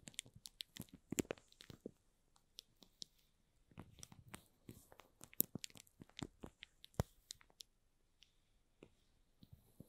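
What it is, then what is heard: Shrink-wrapped cardboard box. Short fingernails and fingertips scratch and squeeze the plastic shrink-wrap film on top of a small, hollow cardboard box. The result is a quiet series of sharp, dry crinkles and clicks with bright high-end crackle and brief, soft low thumps. There are pauses between bursts.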